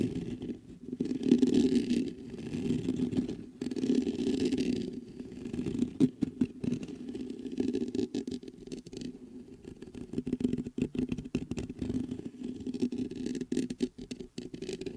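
Fingertips scratch and tap the hollow metal mesh grille and body of a large black metal USB condenser microphone standing on a desktop stand. Dense bursts of scratching and quick, close-up taps carry a hollow, low-mid resonance with little brightness. The sound rises and falls in uneven waves throughout.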